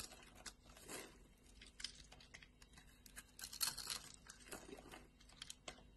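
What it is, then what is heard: Bar of soap being cut and scraped. A pink striped bar of solid soap is cut into small cubes, then scraped with a metal blade. The result is a quiet run of dry, crisp crackles and scratchy, crinkling bursts that sit mostly in the high, bright range. The sound is louder and denser in the middle of the clip.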